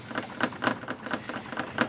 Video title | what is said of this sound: 1992 Lexus es300 Making Noise While Driving | when I shake this, hear that? The radiator is loose.